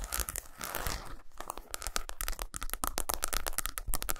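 Long pointed nails scratch and tap quickly on a solid milk chocolate bar of eight squares lying on a towel. A dense run of sharp, crinkly clicks and scrapes with bright, hissy edges and a steady tone near 1.3 kHz, over a low rumble. Each tap dies out almost instantly.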